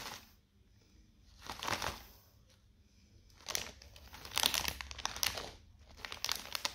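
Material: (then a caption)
Plastic film. Fingertips press and rub a small, sealed, metallised plastic Seabrook beef-flavour crisp bag full of crisps, lying flat on a white table. Bright, crackly crinkling comes in bursts separated by quiet pauses, with the plastic rustling sharply each time it is squeezed.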